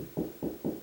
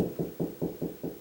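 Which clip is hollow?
The second.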